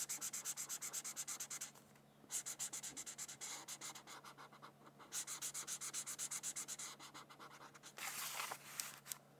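A red felt-tip marker, held by a hand with long nails, is rubbed in quick strokes across a thin white paper coloring sheet. It makes rapid, bright, scratchy swishes in bursts separated by short pauses. The clip ends with a denser, continuous scrubbing stretch.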